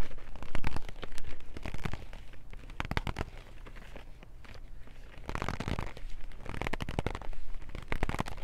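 A small white and teal cardboard box full of No. 2 wood pencils is gripped and scratched with long nails and fingertips. Dense, crackly scratching and clicking comes in uneven bursts over a low, steady hum. The sound is louder at the start, dips in the middle and swells again toward the end.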